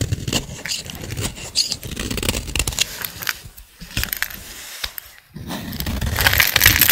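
A solid green bar of dry soap, held by fingers with long nails, is carved with a utility blade. Dry, crackly scraping cuts come in quick, uneven strokes with a bright, crisp edge. The sound grows louder and brighter toward the end.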